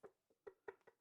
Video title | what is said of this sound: Lucky Strike Gold Show - Episode 36 | when you tap it, it it sounds hollow. >> Yeah. >> And I can see a crack running through here.